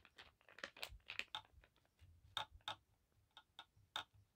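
Long black acrylic nails and fingertips tap and scratch across a thin navy blue paisley cotton bandana lying flat on a table. About a dozen quiet, irregular clicks and scratches sound bright and crisp, with little low end and almost no ring.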